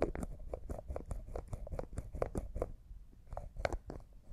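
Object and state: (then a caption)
Glass cosmetic jar with plastic lid, tapped and twisted. A small, hollow, clear glass cosmetic jar with a white plastic lid, apparently empty, is held in both hands while the lid is twisted and tapped with fingernails. The result is a quiet, rapid run of short, dry clicks and light crunchy taps with a faint mid-pitched ring, over a soft low rumble.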